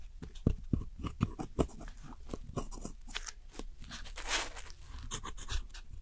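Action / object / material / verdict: scrape / pressed powder eyeshadow in a plastic palette / pressed powder / none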